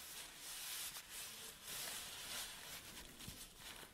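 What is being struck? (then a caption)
Nylon fabric bag. An empty black nylon tripod bag is flattened on a table and then rolled up while hands rub and scratch the fabric. The result is a quiet, continuous, bright rustling hiss that swells and fades in soft waves, with no distinct hits.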